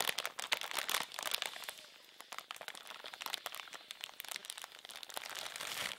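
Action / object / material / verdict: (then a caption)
scrape / thin plastic bag / plastic / none. A medium, thin, empty, clear transparent plastic bag is held in both hands while the fingertips crinkle it and squeeze it into a bunch. Dense, bright crinkling and sharp crackles fill the clip, with no low end and a briefly quieter stretch around the two-second mark before the crackling builds again.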